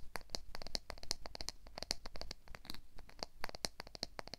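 Fingernails and fingers repeatedly scratch and strum the teeth of a black plastic wide-tooth comb. The result is a quick, uneven run of short, dry, bright ticks and clicks with a high ringing edge over a faint low rumble.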